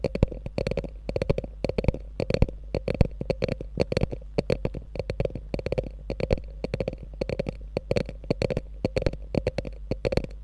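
Long nails tap and scratch across the top and front of a small, hollow beige chevron-quilted faux leather mini bag with a gold clasp. The result is a fast, irregular run of short, dull taps with a soft hollow body, over a steady low hum.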